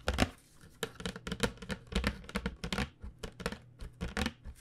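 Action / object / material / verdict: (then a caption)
tap / flat cardboard box / cardboard / none. Long nails tap quickly and unevenly across the surface of a flat cardboard box of acrylic paint pens held in both hands. About nineteen short, dry clicks sound, each with a soft low thump and a crisp, bright edge that dies away almost instantly.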